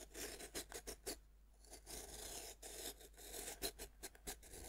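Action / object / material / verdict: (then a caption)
scrape / pressed-powder bath bomb / pressed powder / none. A metal knife tip scrapes and scratches a fist-sized, solid pink pressed-powder bath bomb held by one hand on a wooden board. Powder crumbles off with repeated short, bright, raspy bursts and dry scratching between quieter pauses.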